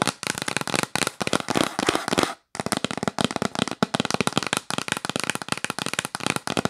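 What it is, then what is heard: Cardboard box lid tapped with nails. Long nails tap rapidly on the lid of a yellow printed cardboard box held close up, making dense, dry, clicky taps with a bright papery edge and almost no ring. The tapping runs in quick flurries, stops for a moment about halfway through, then continues at the same fast pace.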